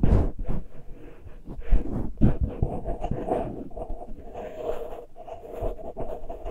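Fingernails of both hands scratch the uncovered metal mesh grilles of the small X-Y microphone capsules on a Tascam recorder. The result is a dense, close-up scraping and rustling, with heavy, boomy low thumps and a faint bright edge.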